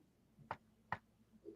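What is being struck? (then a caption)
Wooden surface. A wooden surface is knocked on for luck, with the microphone held close to it. Several short, dry knocks ring out, each with a quick midrange thud that dies away almost at once against a quiet background.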